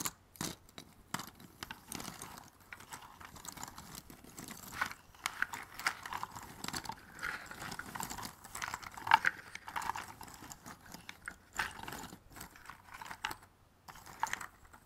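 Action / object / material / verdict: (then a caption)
shake / cardboard jigsaw puzzle pieces in a box / cardboard / none. A hand digs into a white cardboard box full of small, thin cardboard jigsaw puzzle pieces, shuffling the pile quickly with its fingertips. The result is dense, continuous rustling full of quick, dry clicks and clatters, with very short ring and most of the energy in the mids and highs.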